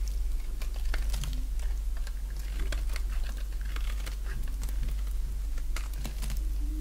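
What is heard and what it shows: A solid bar of dry pink soap is held in the hand and shaved with a box-cutter blade. Quick, crisp scraping and cutting ticks come in a rapid, uneven stream over a steady low hum, with bright, dry snaps that die away quickly.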